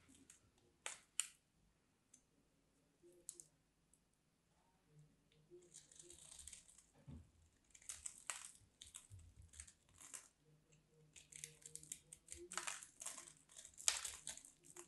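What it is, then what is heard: Bar of soap scraped with a blade. A solid, dry pink soap bar with an embossed grid surface is scraped with a craft knife blade. There are a few sharp, isolated scrapes early on, then longer runs of bright, crisp, crinkly rasping. The sound is quiet and dry, with almost no low end.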